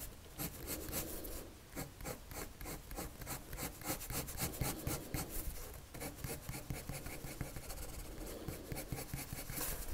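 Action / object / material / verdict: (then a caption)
scrape / paper sheet drawn on with a wood-cased pencil / paper / none. The tip of a wood-cased colored pencil, held in the fingers, rubs across a thin white paper sheet lying flat on a table in continuous drawing strokes. The sound is a steady, dry scratching with quick, irregular back-and-forth strokes and a faint bright hiss over a soft low rumble.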